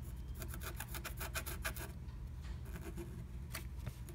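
A wooden stylus scratches the coating of a flat black-coated scratch art sheet through a butterfly stencil cutout. A quick series of dry, bright rasping strokes rises over a steady low hum, then pauses and returns with a few final scrapes.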